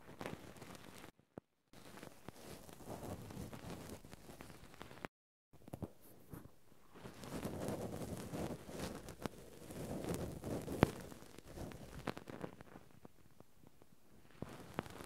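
Cotton swabs held in both hands scratch and rub the metal mesh microphone capsules of a Zoom handheld recorder, while a towel in the background stays untouched. Quiet, dense scratchy rubbing with a low, muffled body is broken by two brief silent gaps near the start. It swells into louder, rougher rubbing in the middle, with a sharp click just before 11 seconds, then fades into softer scraping.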